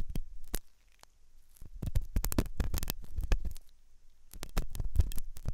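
A metal dental pick scrapes inside the hollow ear canal of a white, soft silicone binaural microphone ear. It makes dense, close, bassy scratching and clicking bursts, with a brief quiet gap near the one-second mark. A second quieter lull comes around four seconds.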